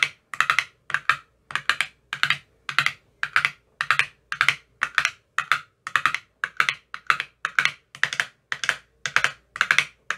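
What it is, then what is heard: Empty plastic ice cube tray with silicone cups. An empty clear plastic ice cube tray with green silicone cell bottoms is tapped inside its cells with a thin metal rod. Quick bursts of light, bright clicking taps repeat steadily, each dying away almost at once with a dry tone around 1.4 kHz.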